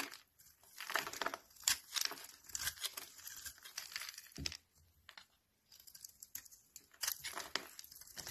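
A utility knife blade scrapes curled shavings off the face of a hand-held, solid, rectangular cream soap bar that is rancid. The scraping comes in bright, dry, crinkly bursts with a brief quiet pause midway, and there is almost no low end.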